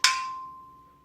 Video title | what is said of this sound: Titan Fitness Flat Bench Reveiw | do you hear that little ring at the end